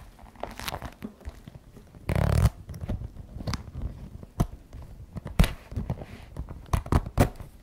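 Long red-painted nails tap and scratch the shiny front flap of a glossy black patent faux leather messenger bag with white trim, lying flat on a wooden table; the bag is soft and hollow. Scattered sharp, dry taps and soft scratches are heard, with one longer, louder scraping rustle early on. The sound is mostly low and muffled, with only brief bright clicks.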